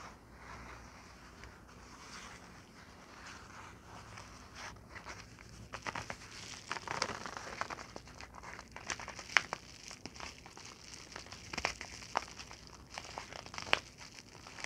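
A yellow padded paper envelope is scratched with long nails, then folded and crinkled in both hands. Soft, bright scratching gives way to louder, denser crinkling and papery rustle, dotted with sharp, quick crackles in the second half.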